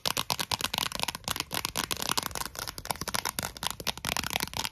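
Long acrylic nails tap and scratch across the surface and rim of a thin, clear, round plastic Pringles lid held in the hands. The result is a rapid, dense run of sharp, bright clicks mixed with scratchy rustling, dry and short with almost no low end.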